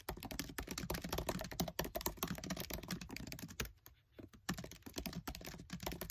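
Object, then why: Plastic laptop keyboard keys. Fingertips with short nails type fast on the black plastic keys of a MacBook Air keyboard set in an aluminium body. The result is a rapid, dense stream of crisp clicks with a brief lull just before the four-second mark before the quick typing resumes.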